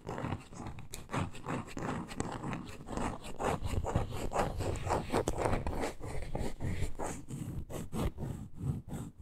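Long nails scratch and tap across the surface of a small, solid, reddish-brown wooden block with a glitter top and edge. The sound is a steady stream of dry, close scratching broken by quick, short taps, with most of its weight in the low range and little ring after each touch.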